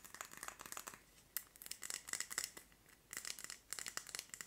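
Long nails tap and scratch a Yankee Candle glass jar filled with solid red wax and wrapped in a paper label. Quick, bright clicks and scrapes come in bursts with short quiet gaps between them, each tap dying away almost at once.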